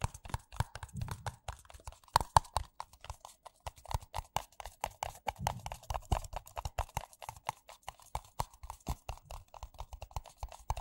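Fingertips and nails tap fast on two identical empty white paper coffee cups, hollow and thin-walled. The result is a rapid, uneven stream of short, dry, clip-clop-like knocks. Each knock has a hollow tone near 900 Hz, a soft low thump underneath, and almost no ring.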